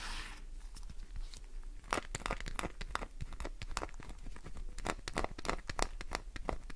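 A solid green glycerin soap bar is scratched with nails, dropping shavings onto the surface below. The result is a fast, irregular run of sharp, dry scraping and crinkling bursts with bright edges and almost no ring, over a low steady hum.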